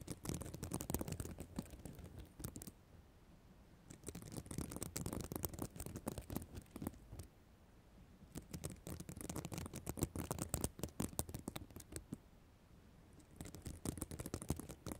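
Long black acrylic nails scratch across a flat, reversible sequin notebook cover made of small plastic sequins. Dense, crackly, rustling scratches come in four bursts separated by short quiet pauses, with a heavy low rumble under bright ticking clicks.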